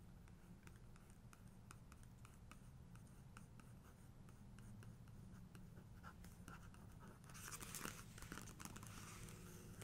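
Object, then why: Glossy paper photo book page. Fingertips and long nails trace, scratch and tap across the glossy paper pages of an open photo book, staying on the same spread with a helicopter photo. Soft, quick ticking taps with short bright clicks sit over a low, steady background, then a louder, brighter scratching rustle swells near the end before easing off.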